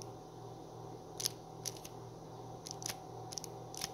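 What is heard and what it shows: Fingertips and short nails tap and scratch along the front and edge of a small, flat, printed cardboard sleeve of a Meiji black chocolate bar, full with the bar inside and held in the other hand. Short, bright, dry ticks and scrapes stand out in scattered clusters over a quiet, steady background hum.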